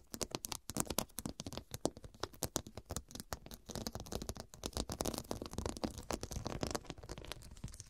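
Long, dark, pointed fingernails rapidly tap and scratch across the square, faceted glass studs covering a fabric cushion. The result is a dense run of sharp, short clicks mixed with bright scraping rasps. Each tick dies away almost instantly.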